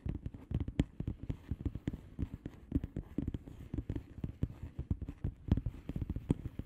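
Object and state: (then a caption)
Bubble wrap mailer envelope. Long manicured nails of both hands tap and scratch a flat blue plastic bubble wrap mailer envelope with air-filled bubbles. Quick, uneven runs of soft, dull, low thuds and clicks stop short, with faint scratchy rustling between them.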